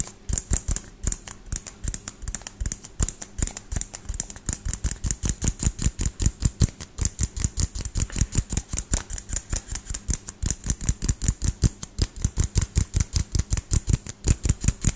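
A frosted LED light bulb with a white plastic base and frosted plastic dome, held sideways, is tapped rapidly with fingertips and nails. Dozens of quick, dry taps follow in a fast, uneven rhythm, each a short low thump with a bright clicky edge and almost no ring.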